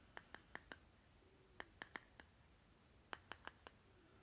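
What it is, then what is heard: Plastic lip balm jar. Fingernails tap and scratch the side rim and bottom of a small round plastic lip butter jar with a green plastic lid, held in the hand. Twelve quiet, sharp plastic clicks come in three quick groups of four, each short and bright with almost no ring. Soft scratching fills the gaps against a low hiss.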